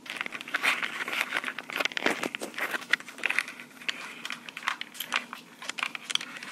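Long pink acrylic nails tap and scratch the body of a small black plastic Tascam portable recorder with metal mic capsules. The result is a dense stream of quick, dry clicks and crinkly scratching rustles, bright and close, with no low end and almost no ring after each tap.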